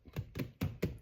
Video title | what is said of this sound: CRISPY BBQ CHICKEN CALZONE | if it sounds hollow, that means it's done